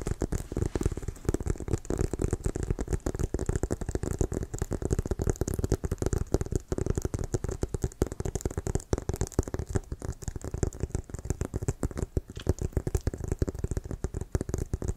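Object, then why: Inflated leather American football. Fingertips and short nails tap and scratch the surface of a brown pebbled-leather American football with white stripes, inflated and hollow and held in both hands. A dense, rapid stream of short, dull thumps with a hollow low boom runs steadily throughout, mixed with faint crackly scratching.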